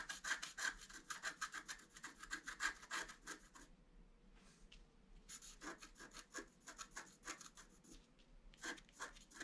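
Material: Coated paper.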